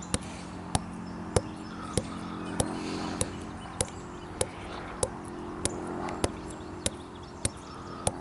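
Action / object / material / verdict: tap / living tree trunk with bark / wood / none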